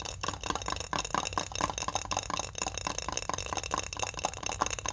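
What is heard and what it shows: A medium glass mason jar with a metal screw lid, filled with folded pink paper notes, is held up while several long-fingernailed fingertips rapidly tap and scratch its glass sides and lid. The result is a dense, continuous patter of sharp, bright clicks and scratchy rasps with short glassy rings around 1 kHz and almost no low end.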